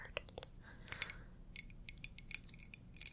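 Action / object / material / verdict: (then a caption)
tap / glass mug / glass / none. Fingertips or nails tap and scratch an iridescent glass mug, producing quiet, bright, high-pitched clicks and short scrapes with almost no ring. The sound is a sparse series of sharp ticks spread across the clip, with a few soft scratching swirls between them.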